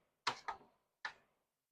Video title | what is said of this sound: Storing Harvested Seeds for later use - Season 6 - E70 | I think that one is empty. I don't hear or see anything.